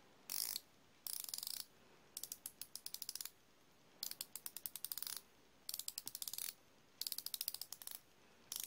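A chrome steel flexible-head ratcheting wrench is held in both hands while its flexing head and ratchet are worked. Bursts of quick, dry clicking alternate with short pauses, some as dense rattles and others as evenly spaced ticks. The clicks are bright and high-pitched, with almost no low end and no ring after each click.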